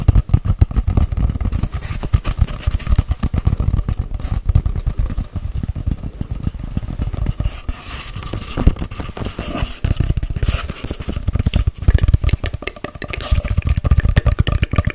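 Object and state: Cardboard paper towel tube.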